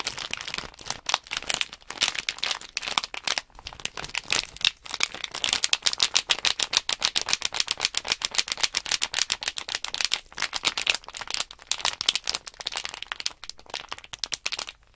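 A small sealed plastic Nanoblock package bag full of loose plastic blocks is held in both hands and shaken. The blocks rattle in fast, continuous bursts while the plastic film crinkles, giving a bright, crisp sound with almost no low end.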